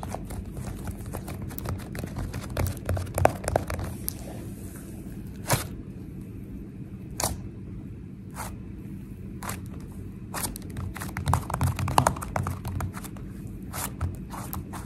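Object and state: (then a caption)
Foam-bead slime being tapped and pressed. A flat sheet of soft, sticky purple slime with small foam beads lies on a granite counter while long painted nails and fingertips tap and press it rapidly. A dense run of quick, irregular squishy crunches and crackles sits over a low, steady hum. Occasional sharper, brighter clicks stand out from the texture.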